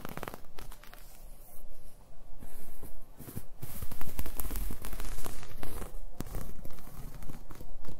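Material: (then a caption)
Knit fabric. A black-and-white striped, ribbed knit garment of soft, thin fabric is held in the fingertips and scratched and rubbed with long nails. The result is a dense run of dry, crackling scratches and soft rustles that rise and fall in bursts with no pauses.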